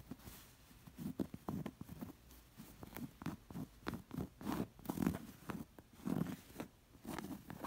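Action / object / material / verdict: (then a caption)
scrape / stuffed cotton pillow with embroidered stitching / cotton fabric / none. Long nails scratch a round, fringed, stuffed embroidered cotton cushion, first across its plain back and then over the embroidered front and its stitching. The result is a quiet run of soft, rapid scratching bursts with a muffled low body around 215 Hz and brief bright scrapes, each dying away almost instantly.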